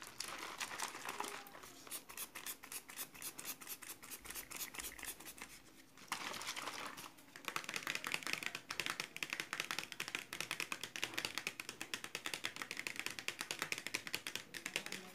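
Fingertips and long nails tap and scratch quickly along the ridged sides of a clear plastic bottle with blue contents, held in both hands. The result is a dense stream of rapid, bright, dry clicks and scratchy crinkling with almost no low end, peaking around 2.5 kHz. It eases briefly midway, then returns louder and busier.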